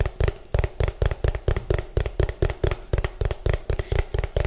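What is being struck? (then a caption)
Plastic food container. Fingernails tap fast and hard on the ridged bottom of an orange, hollow plastic food container, producing about 20 quick, dry taps. Each tap is a hollow, low-heavy thud with a faint bright click on top that dies away almost at once.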